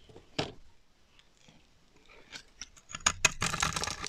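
A solid pink rectangular bar of dry soap stamped "BERRY" is held in one hand and scraped and shaved with a black-handled blade, with curls and powder of soap falling onto the pile below. Short, dry, bright scratching strokes come at irregular intervals, then build into a denser run of crisp scraping toward the end.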